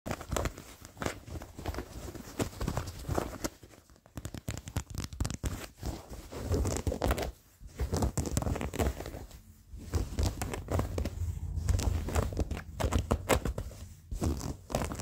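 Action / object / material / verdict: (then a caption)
scrape / worn denim jeans / denim / none. Fingertips and short nails scratch worn blue denim jeans with a frayed seam, making a dense, rough, crackly rasp with a heavy low rumble. The scratching runs in steady bursts with a few short gaps, including a brief pause when the hand is lifted mid-stretch.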